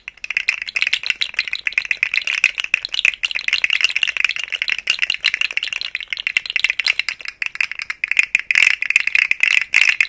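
A rainbow, segmented, hollow plastic articulated slug fidget toy is shaken close to the microphone, its segments rattling against each other. The result is a dense, continuous stream of short, dry clicks with a bright, high, crisp tone and no low end.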